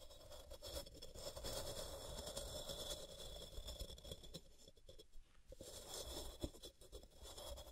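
Long purple-painted nails scratch and rasp a solid white, palm-sized rectangular block of pressed gym chalk (magnesium carbonate) resting on a cork mat, shedding chalk powder. A steady, dry scraping texture carries a bright hiss and a low rumble underneath, with rapid irregular scratches and a brief quieter lull before the rasping picks back up.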